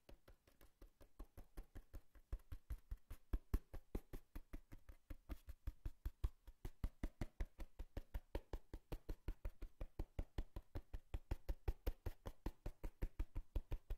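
A cardboard box is knocked and tapped in a steady run of rapid, dull thuds, several hits per second, for the whole clip. Each hit is low and hollow with almost no ring, and the taps vary slightly in strength without anything else in between.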